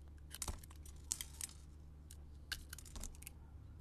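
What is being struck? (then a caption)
Coated soap bar scraped with a metal blade. A solid, hand-sized pink soap bar with a red coating and sugar beads is held in the hand and carved and scraped with a metal utility blade. Quiet, crisp, bright scraping and crackling clicks come in short bursts, each dying away almost instantly, over a steady low background hum.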